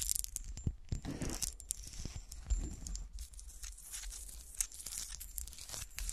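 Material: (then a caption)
Glass. Long nails scratch and tap along the top and sides of a small, solid textured glass golf shoe ornament lying on its side, with a frosted toe and cut patterns. A dense, raspy scratching with a crinkly, tearing texture carries bright high hiss, broken by occasional sharper taps. A steady low hum sits underneath throughout.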